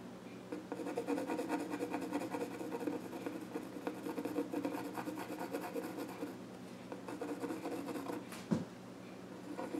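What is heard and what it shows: A pencil scratches drawing strokes across the flat top of a small wooden child's stool, with the pencil partly out of view at the end. Steady, dry scratching and rubbing sits mostly in the low-mid range around 200 to 500 Hz, with faint bright edges. A single sharper tick stands out near the end before the scratching resumes quietly.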